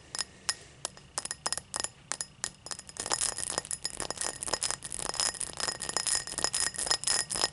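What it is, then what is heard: Cut crystal tall glass. Long black nails tap and scratch an empty, tall cut crystal glass tumbler lying on its side on a towel. Sparse, bright glassy clicks come first, then thicken into a rapid flurry of taps and scratching, each short and ringing with a faint high tone.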